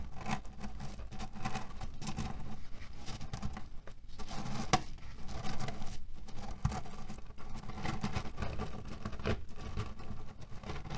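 Fingertips scratch and palms press a cotton-canvas pillow filled with cherry stones, producing a steady, dense patter of muffled clicking and rustling. The sound stays low and soft throughout, with brief brighter ticks as the pits shift against each other.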